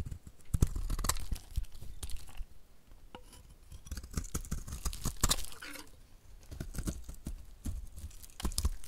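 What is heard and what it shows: A dry two-tone green and blue bar of soap, held in hand, is shaved and scraped with a utility knife blade, peeling curls off its edges and face. The result is a dense run of short, dry scraping and crackling strokes, mostly low and thuddy with some bright, crisp edges.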